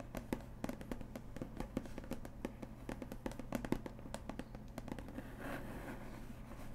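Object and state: Cardboard box.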